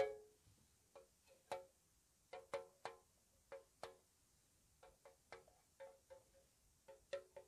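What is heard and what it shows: A small, hollow, white-painted square metal tea tin is tapped with long nails on its lid edge and sides. The result is a slow, soft series of light, hollow metallic taps with a mid-pitched tone around 550 Hz, each fading quickly.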